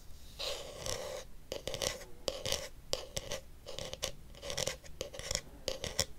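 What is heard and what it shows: Fingernails tap and scratch the shell of a blue hollow plastic detangling hairbrush held close. Dry, raspy scratching bursts carry a hollow plastic tone around 500 Hz and bright high hiss. Short, sharp clicks punctuate the scratching and die away almost instantly.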